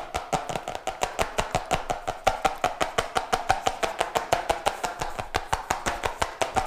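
A cardboard notebook with a colorful, glossy, laminated-looking printed cover, flat, solid and medium-sized, is held upright and tapped quickly with fingertips and nails. About 38 crisp, dry taps follow in a fast, slightly uneven rhythm. Each tap has a hollow papery knock around 770 Hz that dies away almost at once.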